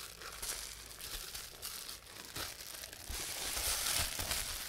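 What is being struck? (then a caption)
Plastic bubble wrap sheet. A sheet of clear plastic bubble wrap with air-filled bubbles is held and squeezed in both hands while fingertips press and pop the bubbles and crinkle the sheet. The result is a steady, bright crinkling broken by sharp little pops, growing denser and louder over the last couple of seconds.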